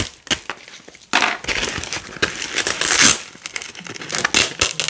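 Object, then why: Nylon hook-and-loop fastener strips. Fingers with long nails peel red and white nylon hook-and-loop (velcro) strips off a black loop panel. A brief quiet crackle opens, then from about one second in a bright, crunchy ripping tear rises and falls in uneven bursts, loudest near three seconds, with almost no low end.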